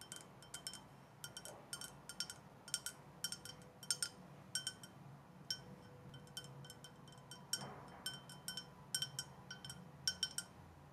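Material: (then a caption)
Glass. Long dark nails tap a clear glass drinking tumbler, held in one hand with a little liquid in the bottom. Quick, bright clinks come in irregular clusters, each ringing high and dying away almost at once over a soft, quiet background hiss.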